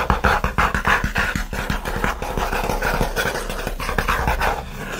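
Fingernails scratch quickly over the lid and top edge of a closed, hollow, shoebox-sized OSEA kraft corrugated cardboard mailer box resting on a fleece blanket. The result is a dense run of fast, raspy strokes with a dry papery midrange texture and a soft hollow low resonance from the box, staying steady for the whole clip.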